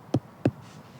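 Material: Soil.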